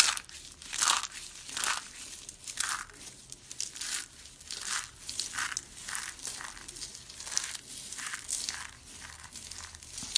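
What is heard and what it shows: Hands with long red nails squeeze dry brown soap curls and rub the flakes, crushing the curls into small translucent flakes. Dense, bright, dry crunching and crackling come in irregular bursts about once a second, with almost no low end.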